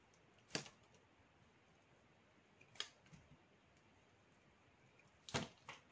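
A metal knife blade carves and shaves curls off the edges of a solid black soap block held upright. Four short, crisp, bright scraping cuts stand out from a quiet hiss, with the last two close together near the end.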